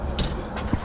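A single dull knock on a wooden window at the back of a house lands near the end. The low, short thud dies away quickly and can be clearly heard, showing that a knock on the window would be audible from inside.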